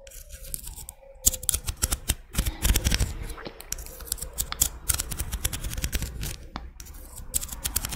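Long red nails scratch and tap the ribbed outer surface of a small, thin, curved pink-white scallop shell held in one hand. The result is a dense run of crisp, bright clicks and dry scratching strokes, with short tapping bursts over a low, soft background rumble.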